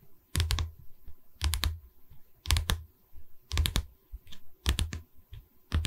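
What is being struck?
Pine canvas stretcher bar.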